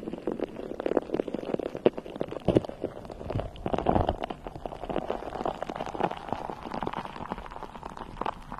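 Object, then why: Metal mesh microphone grille. A bare, hollow, round metal mesh microphone head is cupped in both hands and scratched with long nails. It makes a dense, continuous crackle of tiny scraping ticks with a muffled, rumbling midrange body. There are brief louder swells around the two- and four-second marks.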